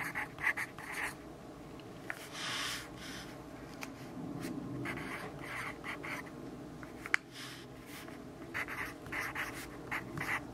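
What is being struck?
Graphite pencil on paper notebook page.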